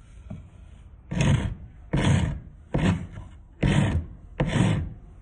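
A thin solid wooden stick or dowel, held by hand, is rubbed along a round metal rasp over a concrete surface covered in sawdust. Five distinct rasping strokes are heard, each a dull, low-heavy scraping burst that fades quickly into quiet between passes.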